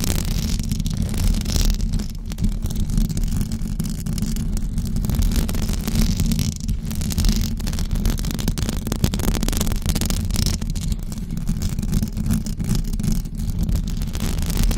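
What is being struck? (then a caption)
Knitted fabric microphone cover. Long blue acrylic nails scratch a white knitted fabric cover over a rounded microphone head. The result is a steady, dense, low rumbling scrape with a throbbing texture and faint bright fizz above it, holding at an even level throughout.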